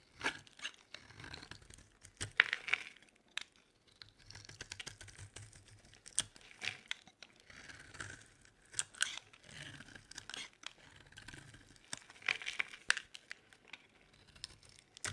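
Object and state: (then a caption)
Dry soap bar being carved. A metal utility blade scrapes along the edges of a solid, dry, white rectangular bar of soap held in the palm. Quiet, crisp, crunchy scraping and flaking sounds come in short, dense bursts, bright and papery, with almost no low end and no ringing after each stroke.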